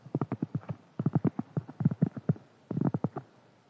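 Fingertips and nails scratch and tap a large, round, flat, solid cork board lying on a table. Four quick bursts of short, dull, low knocks and soft scratches come with brief pauses between them, each sound dying away at once.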